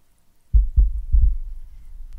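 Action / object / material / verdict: scrape / fabric-covered portable speaker / fabric / none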